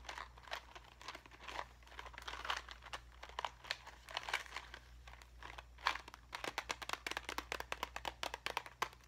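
A small clear plastic cube box full of pink and silver craft gems is turned in the hands and scratched with fingernails. It makes a quiet, bright, crinkly run of quick scratches and ticks that grows faster and more clipped toward the end, over a faint steady low hum.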